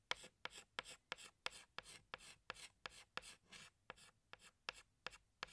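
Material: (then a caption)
Chalk. A hand drags a tan chalk stick across a large, flat black chalkboard while drawing flower petals. Each of about 16 strokes begins with a sharp tap and trails into a bright, dry scratching rasp, at a loose, uneven pace of about one and a half strokes per second.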